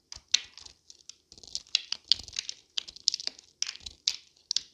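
A small solid blue bar of dried wax soap, held in one hand, is shaved into thin flakes with a metal utility knife blade held in the other, with a second intact bar sitting untouched in the background and a pile of blue shavings below. About eighteen short, dry, crisp scraping rasps follow one another, each bright and high with almost no low end and dying away almost instantly.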